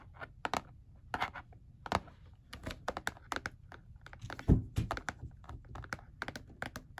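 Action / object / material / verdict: tap / hard plastic calculator casing / plastic / none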